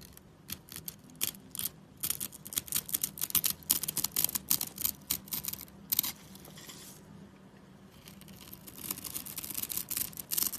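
A utility knife blade scrapes a solid, dry, light-blue bar of soap with a diamond-scored surface, held in the fingers. Rapid, crisp, bright crunching scrapes come in dense bursts for about six seconds, fall to a faint hiss, then pick up again as finer scratching toward the end.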